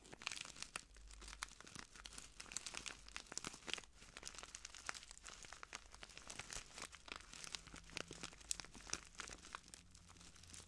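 A small clear plastic bag full of translucent granules is crinkled and squeezed by the fingertips of both hands. The result is a dense stream of quiet, bright crinkles and sharp crunchy clicks with almost no ring, over a faint low hum.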